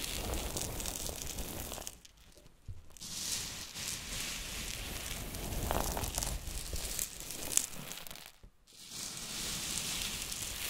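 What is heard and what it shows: Pink and green silicone spatulas dig, scrape and stir a heap of coarse pink Himalayan rock salt crystals. The result is a dense, bright, gritty crunching and crackling rasp, with brief near-silent pauses around 2–3 seconds and 8.5 seconds before the scraping resumes.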